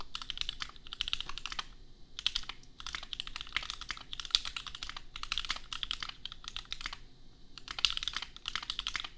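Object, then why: Plastic mechanical keyboard. Bare fingertips of both hands type on a $250 custom 60% mechanical keyboard with Gateron Milky Yellow switches and red and white plastic keycaps, resting on an anime desk mat. Rapid bursts of short, bright, clacky keystrokes come in quick runs, broken by brief pauses near 2, 2.7 and 7 seconds. Each click dies away almost instantly, leaving only a faint low background between strokes.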